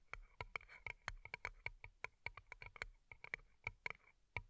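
Long nails tap and scratch over two small, hollow, empty paper cups turned upside down and covered in colorful plastic rhinestones. The result is a fast, bright clicking, like typing, with about 22 sharp taps that die away almost instantly. Faint scratchy rustles fill the gaps between them.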